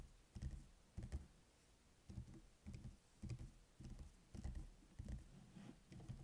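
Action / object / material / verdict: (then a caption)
tap / spiral notebook with paper pages / paper / none. Fingertips and short nails tap and scratch on the lined paper pages of an open spiral notebook with a metal coil, lying on a table, and near the end the cover is lifted to close it. A series of soft, dull, low thumps arrives at an uneven pace, each dying away quickly, with faint papery scratching between them.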